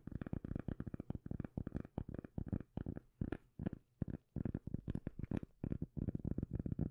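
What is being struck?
Round cork lid.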